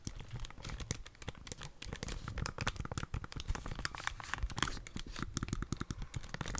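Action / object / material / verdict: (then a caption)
tap / plastic handheld game console / plastic / none. Long dark-painted nails tap the plastic body of a Nintendo Switch handheld console with red and blue Joy-Cons and press its buttons as it is held in both hands. A dense, steady stream of quick, dry clicks and taps follows, with soft low thumps underneath and a crinkly, bright edge. Each sound stops almost at once, with no ring.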